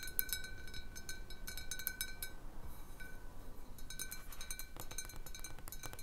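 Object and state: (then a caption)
Large glass bottle. Long nails on one hand tap quickly and unevenly on a large, hollow, clear glass bottle with a little water at the bottom, resting on a wooden table. The taps make a steady stream of bright, glassy clinks with a clear ringing tone around 1.5 kHz. Each clink dies away almost at once over a quiet low rumble.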